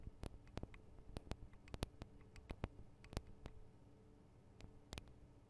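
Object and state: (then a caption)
Recorder microphone capsules tapped with fingernails. Long acrylic nails tap on the small hollow metal and plastic microphone capsules and guards of a Tascam DR-40 recorder. Quiet, sharp clicks and ticks come in an irregular series, each dying away instantly with no ring, over a low background rumble. The taps are quicker and louder early on, then thin out toward the end.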